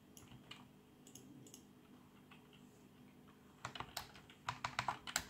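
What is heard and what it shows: Fingertips of both hands type continuously on the plastic keys of a black plastic backlit membrane computer keyboard. Soft, muffled taps come first, then louder, sharper clicks with bright edges arrive in an irregular rhythm over the last second and a half. Each keystroke dies away almost instantly over a faint low background hum.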